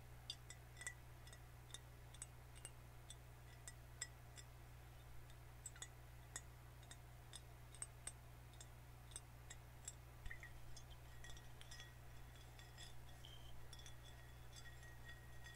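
A full green glass soda bottle is held in the hands while fingernails tap on its glass body and label. Quiet, bright, very short clicks and clinks come at an irregular pace over a steady low hum, with a slightly denser, scratchier stretch near the end.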